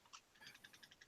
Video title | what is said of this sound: THE CAPMAX TOYCAST LIVE - Episode 13 | just regular plastic just clicking